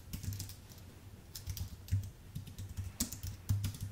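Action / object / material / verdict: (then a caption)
tap / keyboard with plastic keycaps on an aluminium base / plastic, aluminium / none. Fingertips type on a white, full-size Apple Magic Keyboard with plastic keycaps on an aluminium base. Irregular bursts of soft keystrokes each give a dull low thump with a short, bright click on top. Every press dies away almost at once, and a few louder strikes stand out from the quieter run.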